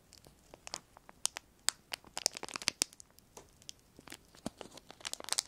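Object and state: Clear plastic sheet crinkling.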